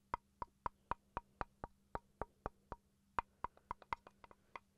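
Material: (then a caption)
Wood. A small, solid wooden chopping board is held up near the microphone and tapped with fingertips and then with a wooden pencil. About 19 short, dry knocks with a hollow woody tone around 950 Hz come at an uneven pace, each dying away almost instantly over a faint steady low hum.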